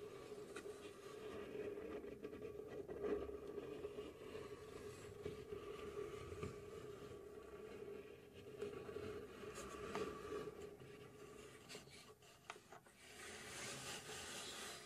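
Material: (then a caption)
Plywood. A medium-sized, hollow laser-cut plywood mechanical safe model with a dial and gears is held from both sides while long pink nails scratch and tap its sides. The result is a steady soft wooden scratching with light, irregular taps. A faint mid hum runs underneath, and brighter scraping bursts rise near the end.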